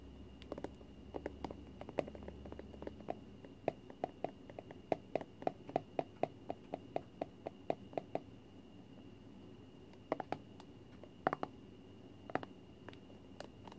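A small cylindrical plastic Flarp putty tub, lid on, is held in both hands and rotated while long fingernails tap and scratch its side and base. Dozens of quiet, crisp, dry clicks come in quick runs, densest through the middle, with soft scratching between them. A faint steady tone near 2.7 kHz sits underneath, and a low rumble is heard during the first few seconds.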